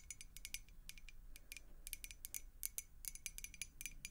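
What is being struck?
Glass beer mug partly filled with water.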